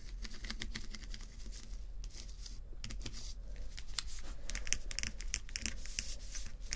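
Fingernails tap and scratch across rows of small acrylic rhinestone sticker strips, producing a dense run of quick, bright plastic clicks and scratchy rasps. The clicks are sharp and short with almost no ring, over a steady low hum.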